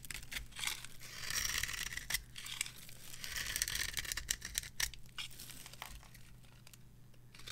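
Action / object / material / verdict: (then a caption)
scrape / bar of soap / soap / none. A metal blade scrapes and carves the surface of a solid, dry, varnished cream-colored soap bar resting on a palm. It makes bright, dry scraping and crisp crumbling crackles in uneven strokes over a faint low steady hum. The strokes grow quieter toward the end.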